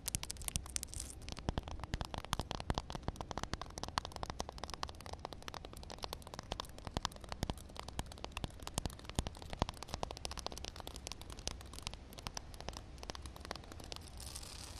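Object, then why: Concrete slab with a film of water. Long nails tap quickly and scratch across a solid concrete slab covered with a thin layer of water. The result is a dense stream of quiet, sharp clicks and crackly scraping over a steady low hum, with brighter hiss toward the end.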